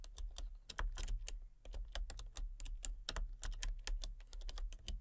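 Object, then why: Plastic computer keyboard. Fingertips with long painted nails type rapidly on a full-size backlit plastic RGB computer keyboard with hollow key switches and colour-cycling lights. A steady stream of quick, crisp clicking taps with bright, short transients sits over a low, constant rumble.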